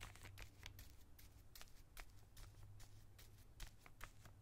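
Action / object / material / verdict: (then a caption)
scrape / plastic zip bag holding plastic collar stays / plastic / none. A small clear plastic zip-lock bag with white plastic collar stays inside, lying on a towel, is brushed and scratched with a small bristle brush. Quiet, irregular crinkly scratches come as short bright bursts that die away almost instantly. A steady low hum runs underneath.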